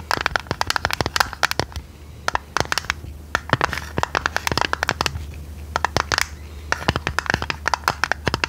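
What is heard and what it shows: A hand-sized square metal tea tin with a domed lid and a purple printed design, likely empty, is held in the hands and tapped and scratched with long red nails. Dozens of quick, sharp clicks and scratchy taps come in uneven bursts with short pauses, each dying away almost at once, over a faint, steady low hum.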